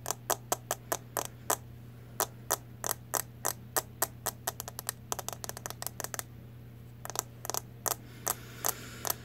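A small round CoverGirl Clean powder compact, a plastic case with a clear lid, is held in both hands and tapped with long nails. It makes 34 sharp, bright plastic clicks in uneven bursts, some spaced out and some in quick runs, each dying away almost instantly. A steady low hum runs underneath.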